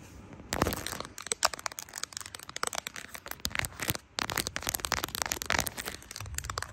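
Long acrylic nails tap and scratch across the back of a handheld smartphone in a matte brown silicone case decorated with small plastic charms (a bear, a coffee cup, a smiley and a 'Baby' badge). After a quiet start, a dense run of sharp, bright clicks and crackly scratching follows, with very short decays. There is a brief lull near the four-second mark before the tapping resumes.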